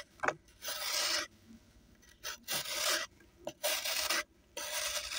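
A small knife shaves a solid pressed-sand block held in one hand over a blue basin holding a pile of dry sand, as sand pours and crumbles off. Four long, bright, hissy scraping strokes are heard, separated by short gritty ticks and brief quiet gaps.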